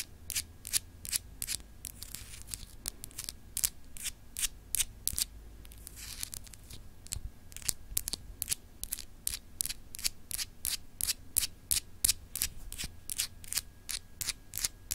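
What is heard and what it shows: A small, solid, clear glass globe paperweight with frosted etched continents is held in one hand and scratched and tapped with long acrylic nails. The result is a fast, irregular stream of short, bright, crisp clicks and scratchy ticks that die away almost instantly, over a faint low background rumble.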